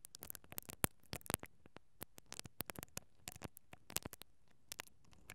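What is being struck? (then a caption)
Metal mesh microphone grille brushed with plastic bristles. A mascara brush with plastic bristles, held from above, is brushed and scratched across the capsule of a hollow, perforated metal mesh microphone grille. About 25 quick, dry scratching crackles are heard, irregularly spaced over a quiet background. Each one is a sharp broadband burst reaching up into bright highs that dies away almost instantly.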